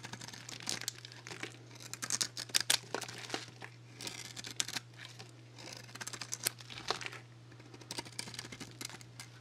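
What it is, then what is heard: Dry soap bar being shaved. A small metal blade shaves crackly strips off a solid, dry bar of Axe soap coated in black nail polish and lacquer. The soap is held in a hand with painted nails. The cuts make dense, bright, crisp crackling and scraping bursts with almost no ring, over a steady low hum.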